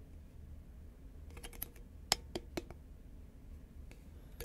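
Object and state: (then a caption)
Cardboard chip can tapped with nails. Long nails tap on a hollow, green Pringles paperboard chip can held upright in both hands. A few sharp, dry clicks with very little ring rise over a quiet low rumble, with faint scratchy ticks between them.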